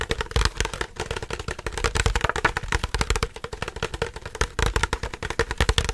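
A hollow, apparently empty clear plastic drinking bottle with a green cap is held in both hands and squeezed, crinkled and tapped with the fingers. It gives off a rapid, dense stream of dry crackling clicks and light taps with a bright crinkly edge, over soft low thumps. Each sound dies almost instantly.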